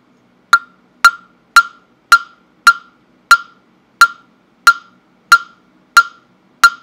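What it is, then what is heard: Wooden fish block (mokugyo). A hand-held, round, hollow carved wooden fish block (mokugyo) with a slot opening, about fist-to-head sized and held near a microphone, is struck repeatedly with a small round-headed mallet. Eleven sharp, hollow knocks ring out at a steady pace of roughly one every half second, each with a clear tone around 1.4 kHz and a bright click that fades almost instantly.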